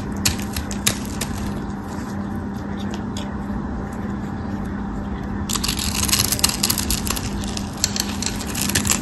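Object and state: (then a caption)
Bar of soap being scraped and cut. A white solid bar of soap held in the hand is scraped and cut into small cubes with a metal craft knife. Crisp, crackly scraping and clicking ticks ride over a steady low hum, with a constant drone near 200 Hz. The cutting turns brighter and denser about halfway through.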